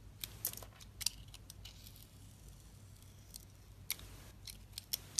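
A hand with long red nails holds a solid, hand-sized bar of Nivea soap with a dark blue sparkly outer layer over a peach core, while a utility knife blade shaves and scrapes the outer layer off in curls. Soft, crisp scraping and sharp, bright clicky snaps come at uneven intervals, with a quiet low hum steady underneath.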